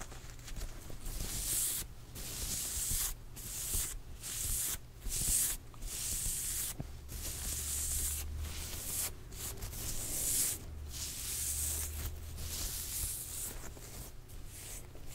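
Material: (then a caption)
Cotton fabric. Long almond-shaped nails scratch pink patterned, printed cotton-like dress fabric at both shoulders while it is worn over the body. The result is bright, hissy scratching in repeated strokes broken by brief pauses, with a soft low rumble underneath.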